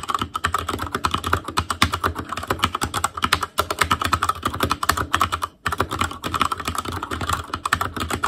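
A full-size black ASUS ROG Claymore Core mechanical keyboard with plastic keycaps over Cherry MX Red switches and RGB backlight, in a hollow plastic/metal case, is typed on continuously with the fingertips of both hands. Rapid, dense clacking keystrokes with short, dry attacks and a mid-range plastic click run throughout, with a low thock underneath. Brief pauses come near 3.5 and 5.6 seconds.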